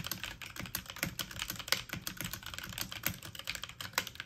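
Keys on a full-size backlit mechanical keyboard with plastic keycaps are pressed fast with fingertips and medium-length nails. The result is a rapid, uneven stream of bright, crisp plastic clicks and taps, each dying away almost at once, with a few louder strikes standing out.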